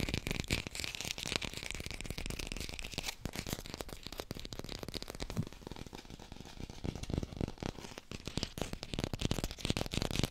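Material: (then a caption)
Plastic. A small artificial green apple, held in both hands, is tapped rapidly with long pink nails. The result is a steady, dense stream of quick, dry clicks and crackles with a soft low thump beneath and bright edges, lasting about ten seconds with no ringing after each tap.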